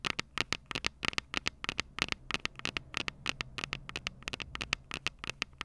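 Long purple nails tap and scratch the small, hollow, silver metal microphone capsules of a Tascam DR-05 recorder. About 32 short, sharp, bright clicks come in an irregular rhythm. Each dies almost instantly over a faint scratchy hiss and low rumble.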